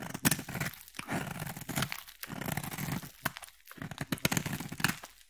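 A utility blade scrapes a solid, palm-sized, cream-colored oval bar of soap, shaving off fine curls of soap. Dry, crackly scraping strokes come in short bursts separated by brief pauses, each with a soft low body and a bright, crisp, tearing edge.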